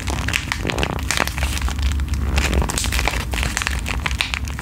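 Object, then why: Foil-plastic sachet scratched with nails. A flat, filled pink foil-and-plastic sheet mask sachet is crinkled and scratched with long nails. The result is a dense, continuous run of sharp crackles and bright scratchy rustles over a strong low rumble, holding a steady level throughout.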